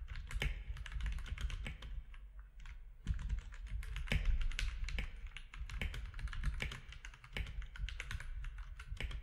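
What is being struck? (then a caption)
Plastic mechanical keyboard. Fingertips of both hands type steadily on a compact mechanical keyboard with grey, white and orange plastic keycaps. The result is a rapid, continuous run of short, dry clacks, each with a deep thump underneath and a bright click on top, with occasional louder strokes standing out from the stream.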